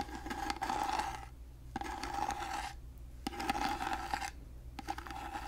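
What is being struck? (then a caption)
Carved wooden box. Long fingernails scratch along the textured, gold-painted ornate surface of a hollow, rectangular carved wooden box held in one hand. Four raspy scraping passes are separated by short pauses, each carrying a steady mid-pitched ring under a bright, gritty texture.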